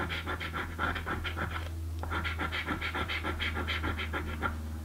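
A coin scratches the latex panels on a blue paper scratch lottery ticket in quick, rough strokes of about three per second, with a brief pause near the two-second mark. Each stroke gives a dry, bright, papery rasp over a steady low hum.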